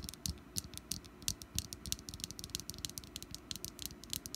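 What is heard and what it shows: Long nails on both hands tap rapidly across the ribbed top of a small, solid orange wax pumpkin candle resting on a mat. The taps are a quick, uneven run of bright, dry clicks with soft low thuds underneath, each one dying away almost instantly.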